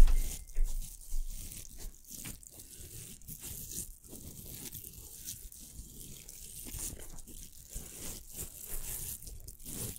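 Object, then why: Plastic velcro hair roller. A pink hollow velcro hair roller is held in both hands while fingertips and nails scratch across its hook surface. The result is a quiet, steady run of dry, crunchy scratching and crackling strokes over a low rumble. The clip opens with a few louder scrapes.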